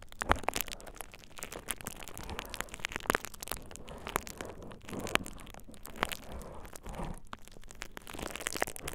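A thin purple plastic bubble wrap sheet laid over the ears of a dummy-head microphone is squeezed and crinkled by fingertips. The result is a continuous stream of dense crinkling and crackling with many sharp, short snaps spread across bright high frequencies.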